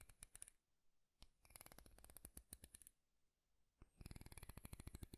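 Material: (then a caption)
Wood. Fingertips and nails strum the teeth of a light wooden comb with a handle close to the mic. Three bursts of rapid, dry clicking ticks are separated by short quiet gaps. Each tick has a soft low thump and a bright edge, with no ring after it.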